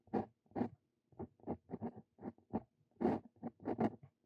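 A steel Brause dip pen nib writes Korean text on a lined paper sheet resting on a wooden desk, the nib scratching across the paper. About a dozen short, separate scratchy strokes come in quick bursts, each fading almost instantly, with faint brighter edges on the strongest strokes.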